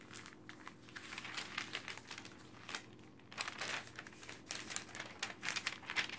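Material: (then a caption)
Paper. Fingertips with long nails rapidly flip the thin pages of an open glossy paper magazine lying on a dark table, pressing each page down. Quick, bright bursts of crinkling and rustling page turns follow one another closely, with little low end and soft, brief decays.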